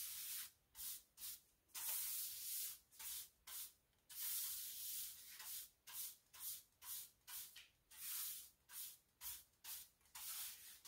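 A pink broom with dark plastic bristles sweeps along large, solid beige ceramic bathroom floor tiles near the cabinet and wall. It makes about 18 separate bright, hissing swishes in an uneven rhythm, with some strokes longer and louder than others.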